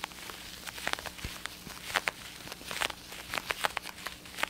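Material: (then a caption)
Plastic. An over-ear black and blue plastic gaming headset with padded ear cups and a hollow shell is held in both hands and tapped and scratched with fingertips and nails. Quiet, bright, dry clicks and taps come in an uneven series, with light scratchy rustling between them. Each tap stops almost instantly with no ring.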